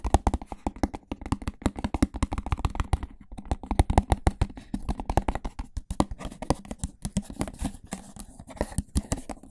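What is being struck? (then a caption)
Plastic food container. An empty, hollow, medium-sized clear plastic rectangular food tub, held upside down over the microphone, is tapped and handled with the fingertips. The result is a rapid, irregular series of short, dull, low thumps and soft scuffs with almost no ring or brightness.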